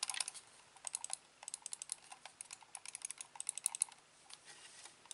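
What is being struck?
Plastic computer mouse.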